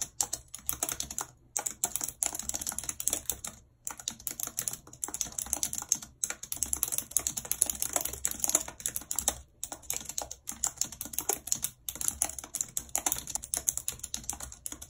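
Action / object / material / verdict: tap / plastic computer keyboard / plastic / none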